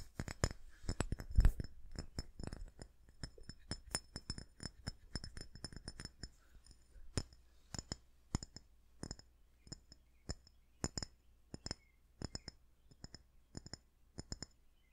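A small, flat red glass perfume bottle with a spray top is held in both hands close to the mic and tapped with fingertips and nails. Quick, dry clicks and light glassy clinks with bright, high overtones die away almost at once, over a steady low hum. The taps come in dense clusters for the first half, then settle into sparser, more evenly spaced pairs and singles.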